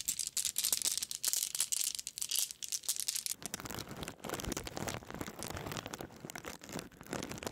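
A white mesh bag full of small solid glass marbles is bounced on an open palm, giving bright, crisp clicking bursts for about three seconds. It is then dangled and shaken by its string, so the marbles rattle against each other in a denser, fuller, continuous clatter.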